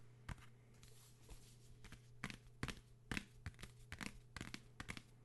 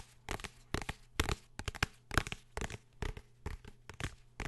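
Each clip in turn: First: paper travel guide book, tapped to show its material. Second: hardcover book, tapped and scratched.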